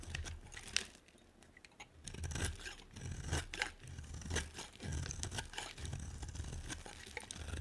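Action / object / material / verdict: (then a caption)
scrape / bar of soap cut with a knife blade / soap / none. A utility knife blade scrapes and carves a solid, hand-sized white bar of soap, with shavings piling up behind the blade. A run of bright, crisp scraping and tearing strokes rises and falls over a low rumble, with short quieter pauses between bursts.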